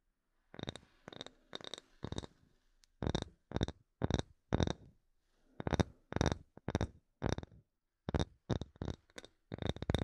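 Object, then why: Small wooden block. A small, light, solid wooden block held near and above the microphone is tapped with fingernails. Quick, dry, bright clicking taps come in short runs with brief pauses between them, each tap stopping almost instantly with no ring.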